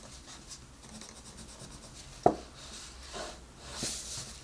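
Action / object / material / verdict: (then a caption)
scrape / wooden colored pencil on a paper coloring book page / paper / none. A green colored pencil with a wooden body is rubbed and scratched across the page of an open paper coloring book with a rabbit drawing, lying flat on a table, by a hand with long red nails. A quiet, airy scratching hiss runs throughout, broken by one sharp tap near the middle and two softer, brighter strokes after it.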